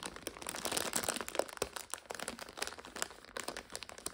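Long nails scratch and pinch a full purple five-packet instant noodle multipack in its plastic overwrap. The result is a steady run of quick, bright plastic crinkles and crackles with almost no low end, each snap dying away at once.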